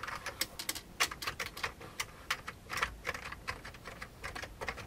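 Fingertips of both hands type on the keys of a full-size vintage beige plastic computer keyboard. A quick, uneven run of sharp, bright plastic clicks and clacks is heard, each dying away almost at once, with little low-end weight and brief pauses between bursts.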